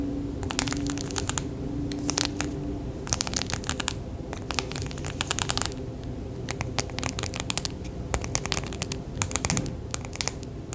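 A small flat package of cow-print press-on nails, in a clear plastic blister tray on a blue card backing, is held over a towel and tapped and scratched with fingernails. Bursts of crisp, bright clicks and scratchy plastic rasps come in clusters over a steady low background hum, with short-ringing taps separated by brief pauses.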